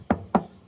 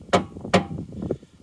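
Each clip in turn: First: Two short, dull knocks on a steel car chassis: a tight, solid thud with almost no ring. Second: Two sharp knocks on a car's metal fuel tank, short and hollow-toned, suggesting the tank is empty.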